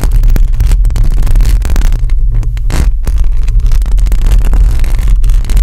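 Long acrylic nails on both hands scratch across a hollow metal mesh microphone grille. The scratching comes through as a loud, continuous, low rumbling roar with quick rustling textures and a few brief dips in level.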